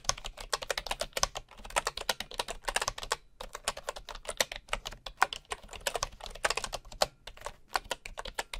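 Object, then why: Bamboo wooden keyboard. A hand types with its fingertips on the wooden keys of a bamboo keyboard, with a bamboo mouse lying nearby untouched. Fast, steady typing produces dense, dry, bright clicks that die away almost instantly, with brief pauses at about 3 and 7 seconds.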